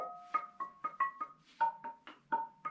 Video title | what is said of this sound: Khám phá hang động ( Tập 3 ) : Vào hang - Nhịp Sống Đông Bắc Vlogs | Nó giống như kiểu là một cái đàn đấy